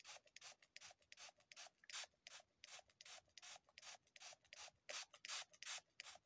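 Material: Floral foam.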